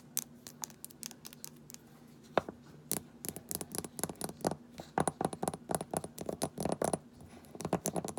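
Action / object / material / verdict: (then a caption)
tap / small glass dropper bottle with plastic cap / glass / none. Long nails rapidly scratch and tap a small amber glass rosehip oil bottle with a paper label and a black plastic dropper cap, first while it is held and then while it lies on its side on a table. The sound is a dense run of short, sharp clicks and scratchy scrapes across the cap, glass and label, with each tap dying away almost instantly.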